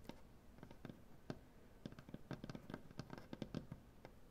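Long, dark-painted nails tap across a solid light wood butcher block tabletop in quick, irregular bursts. Each tap is a soft, short knock with a low wooden body and a brief bright click, dying away almost at once over a quiet, steady background.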